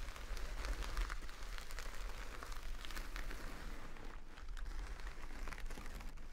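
A full jute burlap rice bag resting on a table is scratched with long nails, producing a steady, dense, crackly scratching texture. Bright rasping streaks ride over a low rumble throughout, with no distinct separate hits.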